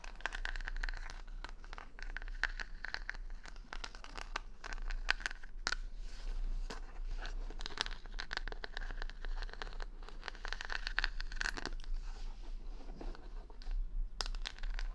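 Long nails and fingertips scratch the colorful plastic rhinestone stickers covering the solid wooden back of a large paddle hair brush, held in one hand close to a binaural mic. The result is a dense, steady stream of crisp, bright scratches and tiny clicks, with a tonal edge around 1.5 kHz over a faint low rumble.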